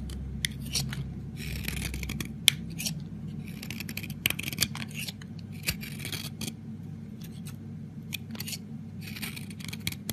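A metal blade scrapes and carves thin flakes off the edge of a small solid green soap bar held on the palm. Bursts of bright, crisp scraping come and go over a low steady hum, broken by occasional sharp clicks.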